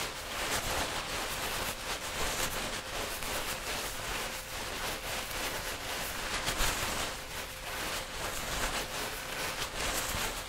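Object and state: Nothing is struck.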